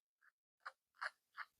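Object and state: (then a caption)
Crispy fried chicken strip. A crunch test on finished fried chicken strips cooked in a Hamilton Beach deep fryer gives four short, dry crunches: a faint first one, then three louder, crisp bursts. The strips are nice and crunchy.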